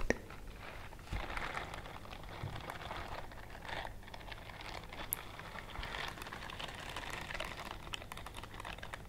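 A pale pink silicone dish glove with bristles is worn on one hand and held up while the long nails of the other hand scratch and rub across the bristles. The result is a soft, continuous crinkly scratching with dense rapid ticks and a steady low hum underneath.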